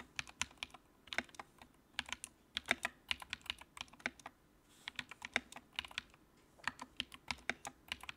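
Fingertips type on the keycaps of a compact white plastic mechanical keyboard with backlight. About 37 short, bright, clicky keystrokes come in quick bursts with a brief pause midway, each click dying away almost instantly with very little low end.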